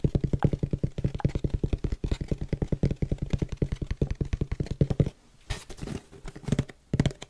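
Fingertips tap rapidly on a small, empty brown cardboard shipping box with a label, making quick, hollow, low-pitched thumps for about five seconds. After a brief pause, they scratch across the box, giving brighter, rougher bursts with a few more taps.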